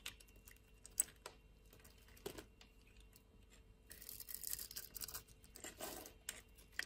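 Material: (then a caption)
Soap. A solid purple bar of soap held in a hand with long nails is sliced and carved with a utility knife. Quiet, close scraping and crisp cutting sounds come in a run of sharp ticks and bright bursts. The cutting grows into a denser rasping stretch near the middle and end.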